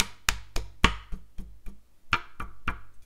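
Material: Wood.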